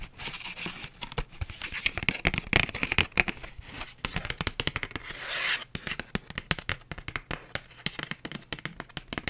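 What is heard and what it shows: Long nails tap and scratch across a flat, empty pink paper envelope with writing on it. Quick, crisp, papery clicks come in a dense, uneven run, with a longer continuous scratching rub partway through. The sound is bright and dry with almost no ring.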